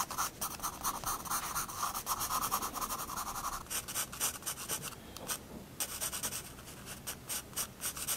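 A 4B pencil draws small figures on a page of a spiral sketchbook resting on a wooden desk. Quick, irregular scratching strokes carry a bright, papery hiss with a gritty midrange band during the first few seconds. The strokes soften briefly near the middle, then return in short, sharp bursts.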